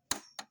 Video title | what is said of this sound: Robot Optimus Prime Bumblebee Terlaris Termurah Yang Diupdate Metal Alloy Tetep TERMURAH Harga Sama | ini besinya saya tetok ya. Nah, beda sekali suaranya ya.